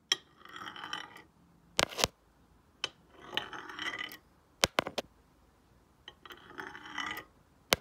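A black stone face roller is rolled by hand across the glazed surface of a solid, square, glossy ceramic tile painted as a night sky. Three bright, gritty rolling passes alternate with sharp, short clicks and taps between them.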